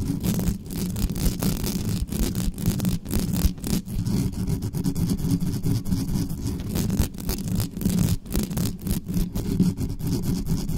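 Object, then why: Metal mesh microphone grille. Long nails scratch fast and hard across the metal mesh grille of a black studio microphone. The result is a dense, continuous rasping scrape, heavy in low rumble, with rapid short bursts and little high-end content.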